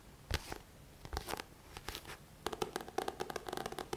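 Fingertips and nails scratch and tap the glossy card front cover of a thick paperback book held upright. Dry scratching and a few sharp taps come first, then a quicker run of short, crisp taps with a hollow papery knock and a bright edge, each dying away almost at once.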